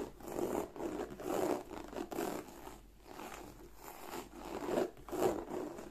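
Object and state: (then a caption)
Croc-embossed leather bag scratched with nails. Long nails scratch along the flap edge and embossed surface of a black croc-embossed leather bag. The result is a series of soft, raspy, dry scratching strokes centered in the low midrange, each swelling and fading in turn.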